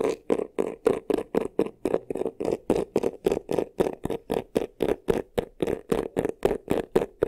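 Fingernails quickly and repeatedly scratch the front of a medium black croc-embossed faux leather vanity case, a hollow box with a textured surface. A rapid train of about 29 short, raspy strokes, around four per second, gives a dry, hollow scratching with a mid-range body and a bright edge.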